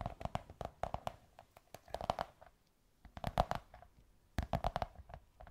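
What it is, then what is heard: Cardboard tube. Long white nails scratch and tap a beige kraft cardboard tube. The result is a quick, irregular run of short, dry taps with a hollow tone around 730 Hz. They come in clusters separated by brief pauses, with soft scratching between the taps.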